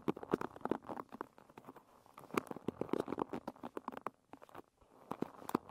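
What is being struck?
Wooden pin bristle hairbrush.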